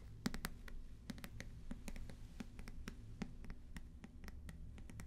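A medium-sized paperback book with paper pages and a cover bearing a small purple sticker is held upright in both hands close to the microphones while fingertips scratch and rub its cover and page edges. The result is a steady run of quick, dry, crisp scratching ticks with bright edges over a soft low rumble, each one dying away almost instantly.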